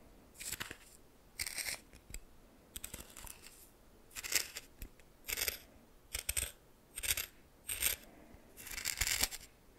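A red plastic spoon scrapes and stirs dry coarse white salt in a small greenish metal bowl. Separate bright, gritty crunching bursts stand apart from near-silence, each a short grainy scrape with sharp tiny ticks and almost no low end. The stirring repeats in roughly ten distinct strokes over the clip.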